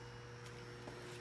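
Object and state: Nothing is struck.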